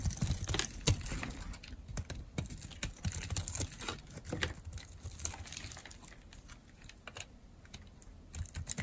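A metal blade scrapes and carves shavings from the edge of a solid, dry, red-and-white striped bar of soap. The result is a rapid, irregular run of short, crisp clicks and crackles with bright, sharp edges over a low, muffled rumble. The sound fades slightly through the middle and picks up again toward the end.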